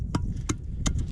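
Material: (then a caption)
Wood. Knocking on the salt-laden wooden timbers of a nearly 100-year-old salt tramway, wood mineralized over time by wind, water and sun. Short, dull, dry knocks with almost no ring sit over a steady low rumble. The timber sounds like stone.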